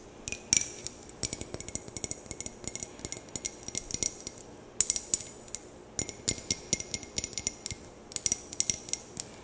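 A rectangular glass perfume bottle with a clear faceted cap, held in both hands close to the mic, is tapped and scratched with long painted nails; rings on the fingers may also touch the glass. Dozens of quick, bright clicks and taps with a high glassy ring sound in irregular bursts, each dying away almost at once. There is very little low end.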